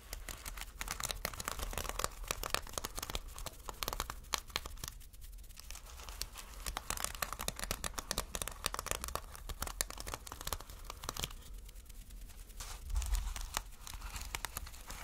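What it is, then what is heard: Plastic sequin fabric being scratched. Fingertips rub and scratch across a taut piece of reversible flip plastic sequin fabric. The result is a quiet, dense stream of bright crackling clicks and crinkles with a low rumble underneath, easing briefly around the fifth and twelfth seconds before picking up again.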